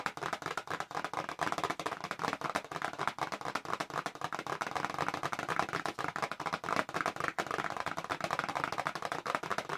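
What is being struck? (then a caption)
Small paperboard retail box. A small, hollow, pink-and-white printed paperboard retail box for press-on nails is held up in both hands and fast-tapped on its back panel with long acrylic nails. The result is a dense, steady stream of dry, clicky taps centered in the midrange, with very little low end and almost no ring after each strike.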